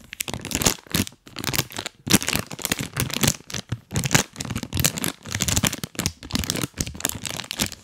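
A full, printed plastic cookie bag held close to the mic is squeezed and crinkled with rubber toy hands. The result is a dense, bright crackling and rustling that comes in rapid bursts with brief pauses.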